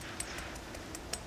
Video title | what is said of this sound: How to Smoke a Whole Chicken | how crispy that skin is all the way around